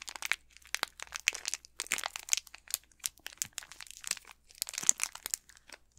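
Fingertips with manicured nails squeeze and crinkle the thin plastic wrapper of an unopened, full-size Snickers chocolate bar with the solid bar inside. Quick, bright, dry crinkles and crackles come in dense bursts with short gaps, almost entirely in the high range with no low end and no ring after each crackle.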